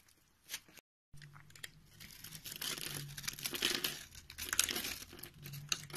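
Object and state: Soap bar being carved.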